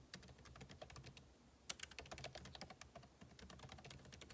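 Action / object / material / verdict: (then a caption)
tap / laptop keyboard, plastic keys in aluminium body / plastic / none. Two hands type continuously with their fingertips on a backlit MacBook Pro laptop keyboard, its plastic keycaps set in a hollow aluminum case. The result is a quiet, steady stream of short, crisp key taps with bright clicks, each dying away almost instantly over a soft low rumble. One sharper, louder tap stands out partway through.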